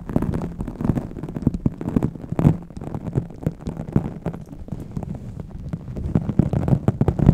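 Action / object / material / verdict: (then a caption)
scrape / microfiber cloth on a foam microphone windscreen / microfiber / none. A pink microfiber cloth wrapped around a microphone's foam windscreen is rubbed and squeezed with fingertips and long nails. The result is a close, muffled stream of dense, bass-heavy crackling and scratching with a low, throbbing undertone. Brief, sharper crackles punctuate it throughout.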